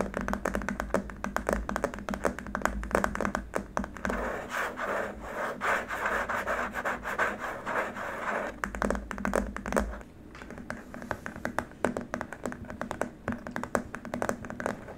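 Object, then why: Rigid plastic keyboard wrist rest. Fingertips and short nails of both hands tap, scratch and rub across a long, flat, rigid white plastic keyboard wrist rest, lying upside down on its small rubber feet, its body solid or shallow-hollow. Rapid dry clicks and scrapes with very short decay fill the clip, centred in a mid-range plastic tone with a faint low hum underneath that drops away partway through.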